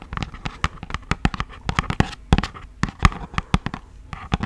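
Long acrylic nails tap quickly and irregularly on a hollow, thin, yellow printed cardboard box for beeswax wraps. Each tap is a short, dry click with a low, hollow thump and a bright edge, dying away almost at once. The taps come in an uneven, continuous pattern with small scratchy sounds between them.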